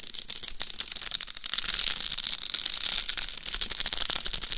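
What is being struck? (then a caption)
Dummy head microphone covered in rhinestones. Long pale nails scratch and tap the rhinestone-encrusted face of a hollow, life-size dummy head microphone. The result is a steady, dense stream of bright, crisp scratching, with rapid clicky taps and rattly sparkle that sit almost entirely in the high range and carry very little low end.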